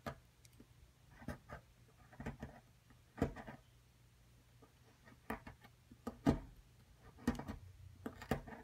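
A metal spatula repeatedly scrapes and chips at the surface of a solid white plaster excavation block while the other hand holds the block still. Short, dry scraping and chipping bursts come at an irregular pace, some brief and soft, others sharper with a bright crackle. A faint low hum runs underneath throughout.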